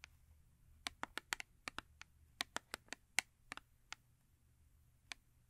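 Long acrylic nails tap the printed face of a small paperboard Yardley soap box held upright on fur. Seventeen quiet, dry, bright clicks come in an uneven rhythm, each stopping at once with no ring, over a faint low background hum.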